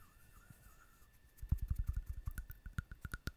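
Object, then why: Small ceramic figurine. A small ceramic owl figurine with a textured surface is held in one hand and tapped with the long nails of the other hand. After about a second of near-silence, there are roughly 16 quick, irregular, dull taps, some carrying a brief bright click, each dying away almost at once.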